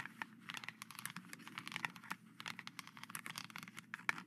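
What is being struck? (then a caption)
Plastic helmet mask. Two plastic skeleton-hand grabbers tap and scratch the surface of a hollow, face-sized, silver-painted plastic knight visor mask lying on dark cheesecloth. The result is a dense run of quick, dry clicks and scrapes, bright and crinkly, with short taps that die away almost at once over a soft background hiss.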